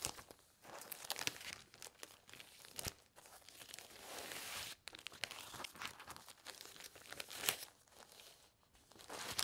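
A stack of thin, clear, punched plastic sheet protectors, empty and lying on a quilted cloth, is handled, separated and crinkled with fingertips and red-painted nails. Bright, crisp crinkling and crackling comes in uneven bursts with sharp snaps, with almost no low end.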